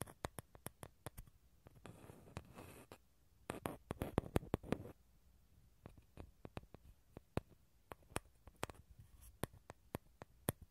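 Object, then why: Dried gourd shell half. Fingernails tap and scratch the outer shell of a small, hollow dried gourd half held over the mic. Quick, dry, hollow clicks ring out with a low body, broken by two stretches of rougher scratching near the start and middle. The taps are quiet, short and unevenly spaced.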